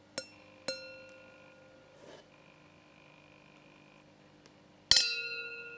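A wine glass holding water is tapped three times, giving bright, bell-like clinks with high ringing overtones. The first two taps come close together and fade quickly. After a quiet pause, a louder third tap rings on longer.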